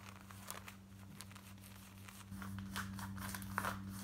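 Long nails scratch fast and close up on the front and hip of worn black denim jeans. Quick, uneven bursts of dry, crinkly rasping sit over a steady low hum that steps up in level just past the midpoint.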